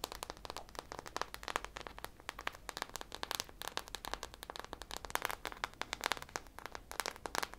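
Long nails rapidly scratch and tap the textured surface of a hand-sized soft foam squishy popsicle toy, coated in purple glittery drizzle and small sprinkles and held up close. The result is a quiet, dense stream of crisp, bright crackling clicks and scrapes with almost no low end and no ring after each tap.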